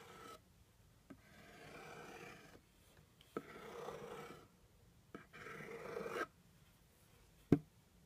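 A plastic stick or pen scratches and rubs across the top of a hollow brown kraft cardboard box, making three soft, papery rasping strokes separated by short pauses. Each stroke begins with a small tick. The clip ends with a single sharp, louder tap on the box that dies away almost at once.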